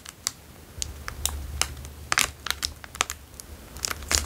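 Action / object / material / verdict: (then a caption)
scrape / plastic chocolate bar wrapper / plastic film / none. A small plastic Dairy Milk chocolate bar wrapper, apparently still holding the bar, is crinkled and rubbed between the fingertips of both hands. Irregular, sharp, bright crackles and crinkles snap out in quick, short bursts over a faint low hum.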